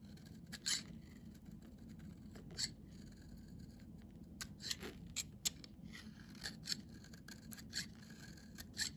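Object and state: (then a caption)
Bar of soap being shaved. A metal utility-knife blade scrapes and shaves the surface of a solid, cream-colored, palm-sized bar of Nefis children's soap held in one hand, curling off flakes. Repeated bright, crisp scraping strokes with quick, sharp edges rise over a steady low hum.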